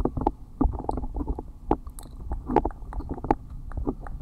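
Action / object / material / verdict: scrape / silicone ear pieces of a binaural microphone / silicone / none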